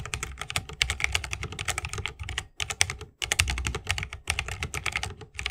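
A 60% mechanical keyboard with plastic keycaps on tactile switches, set in a solid bamboo wooden case with RGB lighting and resting on a wrist rest, is typed on fast with the fingertips of both hands. It gives a dense run of short, bright clicky clacks with a low thocky body underneath, broken by two brief pauses.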